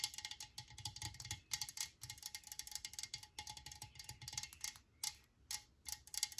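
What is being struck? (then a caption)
Metal aerosol spray can. A metal Lysol aerosol spray can is held and tapped rapidly with long nails, giving quiet bursts of bright, high clicking with a faint metallic ping. Each tap dies away almost instantly, forming quick clustered runs separated by brief pauses.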